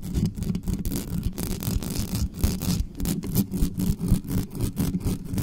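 Long manicured nails of both hands scratch fast across the mesh grille and body of a large, dark, hollow metal USB condenser microphone standing on a desktop stand with no cover. The result is a rapid, uneven run of scratchy bursts, heavy in low, boomy rumble around 180 Hz with little high-end sizzle, each stroke dying away almost at once.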